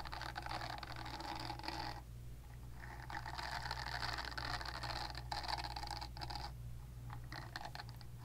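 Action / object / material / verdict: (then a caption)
scrape / silicone facial cleansing brush / silicone / none. Long nails scratch and flick the nubs of a purple silicone facial cleansing brush, held nub side out. The result is a quiet, continuous stream of dry, bristly scratching and soft ticking with bright texture, which drops back briefly between bursts, over a steady low hum.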